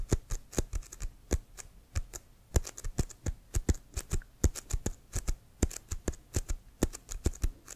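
Fingernails tap and scratch the pebbled leather of an inflated, hollow leather American football held upright. The result is a rapid, uneven string of short, dry taps, each with a dull low thump and a bright clicky edge that dies away almost instantly.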